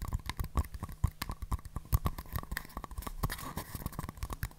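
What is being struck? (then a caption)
Small paper cups. Two small, empty, hollow paper cups, green outside and white inside, are held open-end out near the mic, then tapped and rubbed with fingertips and long nails and knocked against each other. A rapid, steady stream of dry, hollow taps and clicks with low thumps and scratchy rubbing comes through, each hit dying away almost instantly.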